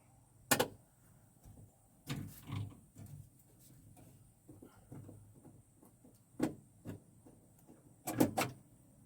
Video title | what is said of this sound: Parting out Mom and Dad's Beautiful 1989 Lincoln Town Car | can't tell if that's metal or plastic. Sounds like metal.